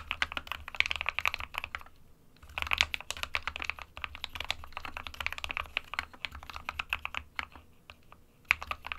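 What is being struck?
Plastic mechanical keyboard.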